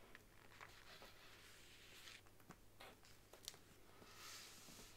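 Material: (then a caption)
Faux leather. Long nails tap the embossed front cover of a large brown faux leather Bible, first lying flat and then stood upright. The taps are soft, dry and quiet, with no ring, over a steady low hum. One tap is sharper and brighter, and a bright, scratchy swell comes near the end.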